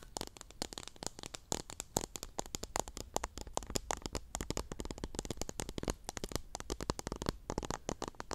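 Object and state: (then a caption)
Plastic cup of cotton swabs. Long nails scratch and flick across the tips and stems of teal cotton swabs packed into a small clear pink plastic cup, close to the mic. A dense, rapid stream of dry, crackly clicks and scratchy flicks spans from low thumps to bright, high crackle. Each click stops dead, with no ringing.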